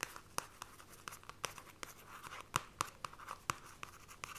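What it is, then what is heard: Paperback book with glossy card cover. Long nails scratch and trace the glossy card cover and spine of a paperback copy of The Fairy Bears. About sixteen quick, dry clicks and taps ride over a quiet, continuous scratchy rasp, with a bright papery edge and a midrange tone near 1.2 kHz. Each click is short and dies away almost instantly.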